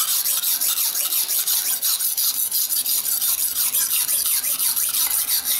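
A steel kitchen knife, guided by fingertips, is stroked back and forth across a dark grey rectangular whetstone resting on a tiled floor to sharpen it. The result is a steady, rapid series of bright, hissing rasps, each stroke swelling and fading in a regular rhythm with almost no low end.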